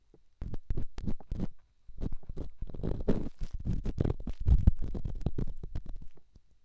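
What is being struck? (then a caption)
Rough stone on a silicone microphone ear. An elongated, solid, rough rock held in the fingertips is scratched and rubbed inside a silicone microphone ear. The result is a dense run of quick, deep, muffled scrapes and bumps, almost all low rumble. There is a brief pause partway through before the rubbing resumes.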